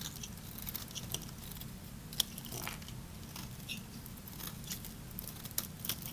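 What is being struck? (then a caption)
Bar of soap. A small knife blade shaves across the surface of a solid, hand-sized, dry green bar soap held in one hand. Quiet, dry, crunchy scrapes and bright crackly flicks come in irregular bursts, with a few sharper snaps, over a steady low hum.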